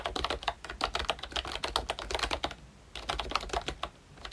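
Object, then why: Plastic membrane keyboard. A full-size ROYCHE Disney Mickey Mouse retro membrane keyboard with round plastic keycaps is typed on continuously with the fingertips of both hands. The result is a rapid run of short, dry plastic clicks and soft taps with a bright, clattery edge, broken by one brief pause before the typing picks up again.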